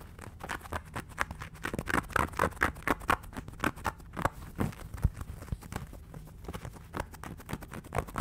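A small, soft, stuffed yellow Pikachu plush made of fabric is held in both hands in front of the mic and scratched and tapped with fingertips and nails. Quick, irregular soft taps and dull thumps mix with short fuzzy scratching rustles, each dying away almost instantly. The sound stays close and muffled, with a low body and only a little brightness.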